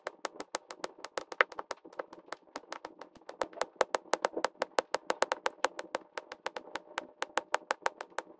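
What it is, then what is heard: Resin drills tapped onto a diamond painting canvas. A plastic drill pen tip repeatedly taps blue and pink plastic resin drills into place on a flat adhesive diamond painting canvas, sped up as a time lapse. About fifty sharp, bright, dry clicks come in a quick uneven rhythm, each dying away almost instantly over a faint mid-range background.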